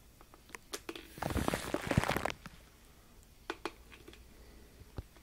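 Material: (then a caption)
Aluminum foil. Fingertips rub and crinkle aluminum foil wrapped around a microphone, giving a few scattered sharp crackles before a dense burst of crunchy, crinkling rustle from about one to two and a half seconds. After the burst come sparser isolated snaps and soft patter over a low background.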